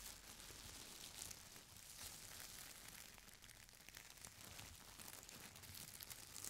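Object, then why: Stack of thin tissue paper. Fingertips and long nails press, rub and scratch a folded stack of thin purple tissue paper lying flat on a chair seat. This makes a steady, quiet stream of bright, papery crinkling and scratching with faint low rumble underneath, and the sound swells slightly near the end.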